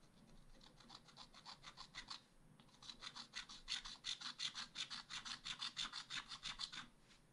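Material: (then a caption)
Wax-coated paper. A thin wooden stylus scratches the black layer off a wax-coated scratch art page in a spiral-bound pad, printed with ice cream outlines and lying flat on a table, revealing colour underneath. The strokes come as a quick, fairly steady series of bright, dry rasps, with a short pause near the middle before they grow louder. There is almost no low end.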